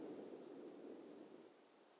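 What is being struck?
Nothing is struck.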